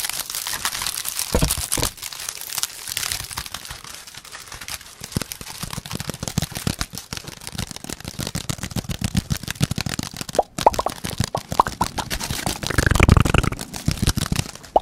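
A head-sized pink hollow woven plastic lattice ball with an orange plastic handle is held and scratched and tapped with the fingertips. A dense, fast stream of dry crinkling scratches and short clicky taps runs throughout, with a low thumpy body and bright crackle on top. It swells into a heavier rumbling burst near the end.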